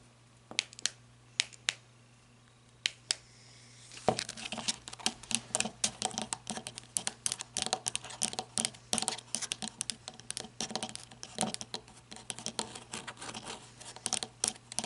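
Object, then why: Ribbed flashlight body, plastic or coated metal. Long red nails tap on the ribbed body of a black matte flashlight of plastic or coated metal, first while it is held and then as it stands upright on its head. A few sparse, bright clicks over a faint low hum give way after about four seconds to fast, continuous tapping. Each tap is short and dry with almost no ring.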